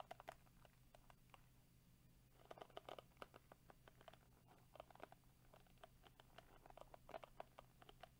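Fingertips and short nails scratch and strum across the dense flexible plastic bristles of a small hand-held black plastic Tangle Teezer-style detangling brush with a purple rim, held in the other hand. The result is a quiet, rapid run of crisp, dry plastic ticks and scratchy flicks over a steady low hum, with denser bursts coming in short clusters.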